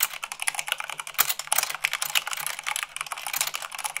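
Fast typing with fingertips and long nails on white plastic keycaps of a black plastic mechanical keyboard. A dense, rapid stream of bright, sharp clicks and clacks continues throughout with no pauses, with one slightly heavier thud near the middle.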